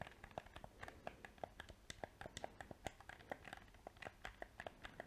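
A small, hollow black PS4 plastic controller is held in both hands while its buttons are clicked rapidly and its shell is tapped with painted fingernails and fingertips. The result is a quick, uneven stream of short, dry plastic clicks and taps with a mid-pitched knock and bright edges, each dying away almost instantly.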